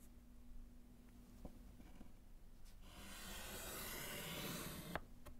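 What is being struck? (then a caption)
Slate chalkboard in a wooden frame. A gloved hand strikes through words with pink chalk on a small, flat, solid slate chalkboard in a wooden frame. A few faint taps in a quiet stretch give way to a sustained, bright, scratchy chalk rub lasting about two seconds. It ends in a sharp tap over a steady low hum.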